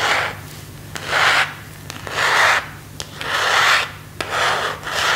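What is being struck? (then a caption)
Plastic phone case. Fingertips and nails scratch and rub the back of a thin, hollow, empty phone case of semi-transparent plastic with a white marble and leaf print, held in both hands. Slow, repeated rubbing strokes swell into a bright, hissing rasp, with a few sharp nail clicks between them.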